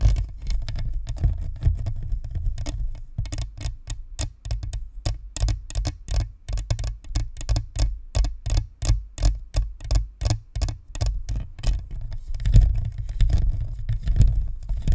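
Long nails tap and scratch along the top and sides of a white spherical Blue Snowball USB microphone, a hollow plastic shell with metal mesh. A quick, loosely regular run of short, dry clicks rides over a deep low rumble from the hollow body, with bright scratchy edges. The tapping grows denser and more scraping toward the end.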